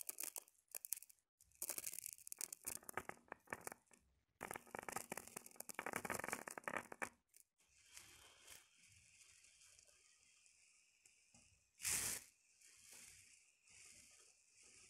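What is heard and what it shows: Long painted fingernails and fingertips rake and scratch through a loose pile of small, hard, dried yellow split chickpeas (chana dal) spread on a fabric surface. Dense, bright, gritty rattling comes in bursts for the first seven seconds, then gives way to softer, hissy scratching with one sharp loud swipe near the twelve-second mark.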